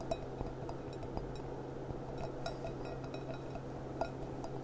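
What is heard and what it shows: Long, dark-painted nails tap the bowl and foot of a small, clear, hollow, empty stemmed glass goblet with a gold band, resting upside down on a tablecloth. Eight light, glassy clinks ring briefly around 670 Hz over a steady low hum.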